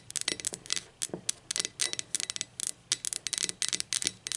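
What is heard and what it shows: Long acrylic nails tap the body and handle of a hollow blue speckled ceramic mug, first lying on its side and then turned upside down. The result is a quick, irregular run of bright, clicky taps with almost no low end and virtually no ring after each hit.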